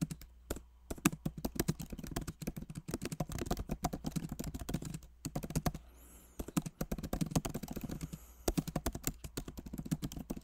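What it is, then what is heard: Plastic laptop keyboard being typed on. Both hands type rapidly with fingertips on a backlit MacBook Pro Magic Keyboard, plastic keycaps set in an aluminum body. Dense, short, muted key taps with a low, soft body patter along steadily, broken by brief pauses near 0.7, 5.2 and 6.3 seconds.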